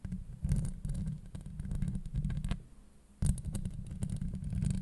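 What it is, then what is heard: Metal mesh microphone grille scratched. Long acrylic nails on both hands scratch and grip the hollow steel mesh grille of a Blue Yeti microphone. The result is a dense, low, rumbling scrape with quick crackling ticks, dipping briefly near the middle before the scratching surges back.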